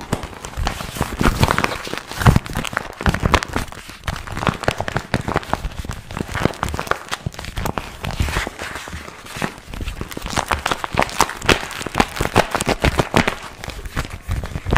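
Fingertips crinkle and squeeze a small, glossy pink printed vinyl zip pouch held in both hands. Dense, crackling crinkles and short sharp snaps come in uneven bursts throughout, with most of the weight in the lows and little brightness.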